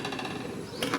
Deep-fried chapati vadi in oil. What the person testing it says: मस्त कुरकुरीत याचा आवाज येतोय